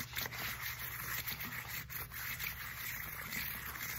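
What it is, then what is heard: Textured foam roller being scratched. Long nails scratch and tap the knobby surface of a black textured foam roller with a hollow core. A continuous, bright scraping texture is heard, with a faint low hum underneath.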